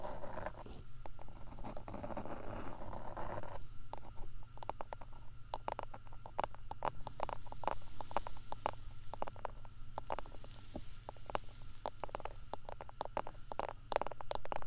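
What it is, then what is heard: Silicone ear cover scratched with fingernails. Fingertips and long nails rub and scratch the dark, soft, hollow silicone ear-shaped covers of a binaural microphone. A dense, muffled rubbing wash fills the first few seconds, then gives way to a long run of quick, sharp scratches and clicks with almost no ring. A steady low hum sits underneath throughout.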